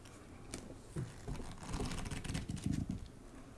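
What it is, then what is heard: Hardcover book board, tapped with nails. Long nails tap rapidly on the patterned paper endpaper covering the inside board of a hardcover book lying open. The result is a quiet, uneven patter of soft, dull taps, mostly low in tone with faint bright clicks, each dying away quickly.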